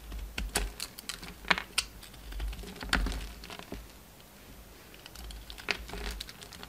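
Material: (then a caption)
Soap. A utility knife chips and scrapes chunks off a solid pink soap bar, still carrying red remnants of its coating, held in the hand. Crisp, dry cutting clicks and short scraping crackles come in an irregular series, with bright transients over a faint low rumble.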